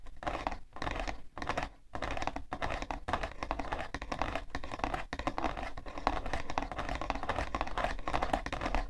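Long nails scratch and tap rapidly on the side panel of a hollow, printed cardboard tissue box. The result is a dense, dry, papery patter of quick clicks and scrapes centred in the mid-range, with almost no ring. Brief pauses break up the sound early on.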